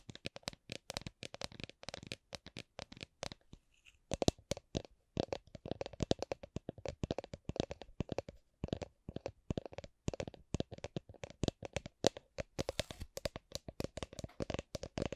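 Long nails tap and scratch a hollow, apparently empty clear plastic drink shaker bottle with a red lid, held in the hands. The result is a rapid stream of short, dry clicks with a hollow plastic tone around 530 Hz and a bright, scratchy edge. A brief pause occurs just before the four-second mark, and then the tapping resumes at a similar pace.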